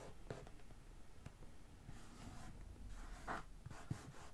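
Long nails of one hand scratch across the top of a medium, closed, hollow brown corrugated cardboard shipping box. The result is a quiet, dry scratching and rubbing with a low, hollow undertone and a few brief, slightly brighter strokes.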